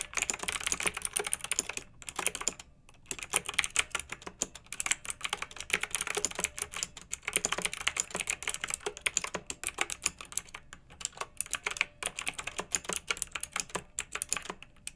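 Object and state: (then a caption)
Plastic mechanical keyboard with round keycaps. Both hands with long nails type with their fingertips on a pink backlit plastic mechanical keyboard with round typewriter-style keycaps. Quick, bright clacks come in steady streams with almost no low end, broken by a brief pause near the three-second mark. Each click snaps off instantly with no ring.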